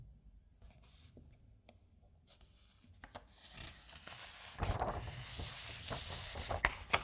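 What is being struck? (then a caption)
Thin glossy paper magazine. A thin glossy softcover magazine is handled as fingertips and a palm rub along the page, giving a soft, dry brushing hiss. Fingers then lift and turn the pages, and the sound grows into louder crinkling paper swishes with sharp papery snaps toward the end.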